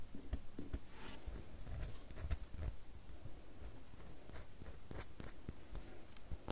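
Long natural nails scratch and scrape the already-scraped surface of a solid rectangular red bar of soap held in hand, with shavings falling onto a white table. Quiet, dry scratching runs throughout, broken by short, sharp ticks with brief bright edges over a soft low rumble.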